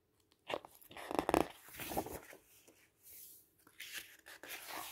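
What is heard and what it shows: A hand turns the solid stacked pages of a large, thick printed paper brochure with red-edged pages lying flat on a table, and rubs or slides its fingertips across the page surface. Quiet papery rustles, crisp crackles and soft swishing slides come in short bursts with brief silences between them. The sound is dry and close, with no low rumble.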